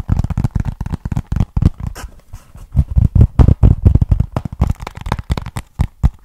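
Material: Cardboard.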